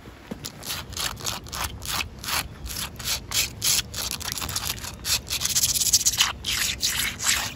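Long acrylic fingernails scratch and rub across solid, rough, wet outdoor concrete pavement, with a boot briefly in view. The sound is a rapid, irregular run of bright, gritty scraping strokes, each short and dry with little low end.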